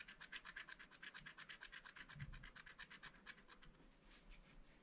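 A wooden stylus scratches the coating of a black wax-coated scratch-art paper sheet in a spiral pad lying flat on a table, revealing colour underneath. Quick back-and-forth strokes, about thirty of them, make a dry, bright rasping scratch that is fairly steady, then thins out and softens toward the end.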